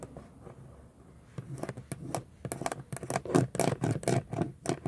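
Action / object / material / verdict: tap / plastic steering wheel center pad with chrome emblem / plastic / none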